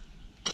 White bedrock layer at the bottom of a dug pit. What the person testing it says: व्हाइट अब hard rock है, आपको उसकी आवाज से पता चल जाएगा